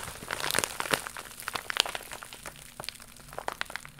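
A holographic faux leather pouch of iridescent crocodile-embossed vinyl, held up in both hands, is scratched and crinkled with long pink nails. The result is a run of dry, bright crinkles and sharp scratchy clicks, dense at first and then sparser, with almost no low end.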